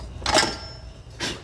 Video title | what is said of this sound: Front wheel drive hub bearing press in style job ride along tips tricks | tap it and make sure you hear it snap into its receiver